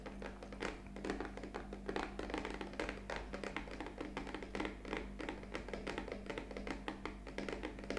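A black printed cardboard coffee capsule box stands upright and hollow, held at the sides while long fingernails tap its top edge and face. A fast, continuous run of light, dry clicking taps with short hollow thunks continues throughout, over a faint steady low hum.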